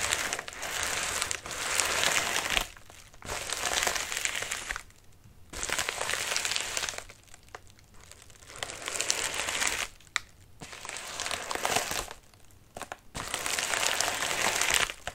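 Clawed fingertips scratch the crinkly, wrinkled surface of a medium white padded mailer resting on a lap. The result is bright, dense crinkling in bursts of a second or two, with short quiet pauses between them.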